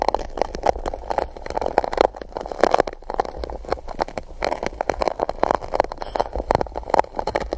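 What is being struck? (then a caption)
Gold-coated paper cup scraped with a silicone tool. A small silicone spike tool is rubbed and scratched across the base of an empty gold-coated paper cup placed upside-down over the microphone. Dense, rapid scratching and rubbing strokes give a hollow, papery sound concentrated in the mid-range, with a faint low rumble underneath and little high-end brightness.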